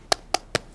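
Three short, sharp taps on a fiberglass arm cast, made to check whether it has set, sound like knocking on a door, with a bright, hard click and almost no ring. The cast has set dry and hard.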